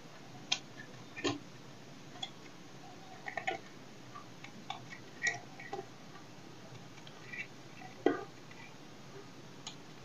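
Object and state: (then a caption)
Dry soap bar. A solid dry soap bar held in the hand has its surface cut and scraped with a knife blade. About 16 short, crisp clicks and scrapes sound at irregular intervals over a quiet background. Each has a bright edge and dies away almost instantly.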